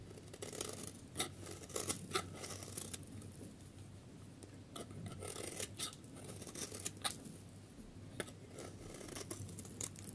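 A solid yellow dry bar soap, held in the hand, has its edge shaved with a snap-off metal utility blade into thin curls. Crisp, dry scraping strokes repeat in quick succession, each a bright rasping swish over a faint low hum. Some strokes land sharper and louder than others, and each one stops almost at once with no ring.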